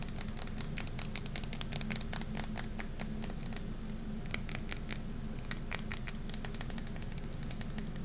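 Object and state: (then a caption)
Glitter-coated hard soap bar. Manicured fingernails rapidly tap and scratch the glossy surface of a solid oval bar of hard Safeguard soap coated in purple glitter, held in the hands over a marble surface. Sharp, bright clicks and scrapes come in quick clusters with a brief lull in the middle, over a steady low hum.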